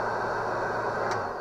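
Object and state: Nothing is struck.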